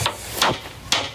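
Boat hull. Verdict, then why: Rotten. A hammer strikes a boat hull around the tube fittings, giving three short, bright knocks with little low end and a quick decay. The hull proves rotten at the base of the fittings.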